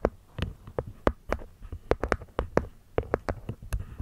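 A small, hollow, hexagonal light-wood box with a cork top is tapped and scratched by long nails on the cork lid and the wooden rim. Short, dull knocks follow each other irregularly over a low hum, with soft scratchy sounds between them. Each knock dies away almost at once.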